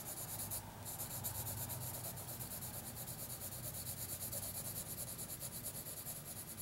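A graphite pencil held in the fingers scratches and shades across a thin lined notebook sheet lying flat. It makes a steady, bright, papery rubbing of quick back-and-forth strokes, with a brief lift near the start and a low hum underneath.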